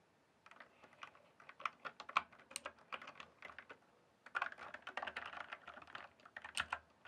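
Fingertips type on a full-size RGB mechanical keyboard with plastic keycaps. Two bursts of quick, clacky keystrokes are separated by a short pause, each press a sharp, bright click that dies away almost at once.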